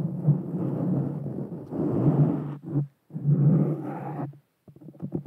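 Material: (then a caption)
Foam. Long painted fingernails on both hands scratch and rub a soft, porous black foam windscreen fitted over a small Blue Yeti Nano USB microphone. The result is a dense, low, muffled rumbling scrape in long continuous stretches, broken by brief silences and ending in a few short, quieter scratches.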